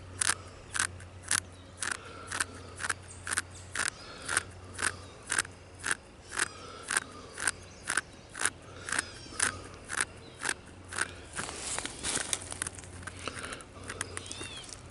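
Fingertips and short nails scratch and tap the deeply furrowed grey bark of a large, solid living tree trunk. Sharp, dry, bright taps repeat about twice per second with a scratchy crunch, over a faint low hum. Toward the end they blur into denser, continuous scraping.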